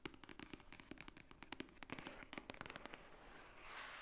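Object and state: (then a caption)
Thick paper book. Long nails tap rapidly on the top cover of a large, thick, white-edged book lying flat, a solid paper stack. The result is a quick run of dry, short clicks and ticks with little ring, easing into a softer, brushier high rustle at the end.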